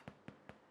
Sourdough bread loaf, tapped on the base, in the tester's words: If you tap the base of your loaf and it sounds hollow, that is a way to know whether or not your loaf is baked.